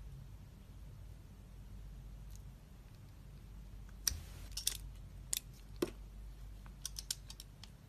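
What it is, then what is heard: Glycerin soap bar being shaved. A metal utility-knife blade shaves and scrapes thin curls off a hand-held, palm-sized, solid, translucent red glycerin soap bar with an embossed "nature" logo. Over a low, steady background hum, faint scraping builds into a run of short, sharp, bright clicks and crisp scrapes in the second half, each cutting off almost instantly.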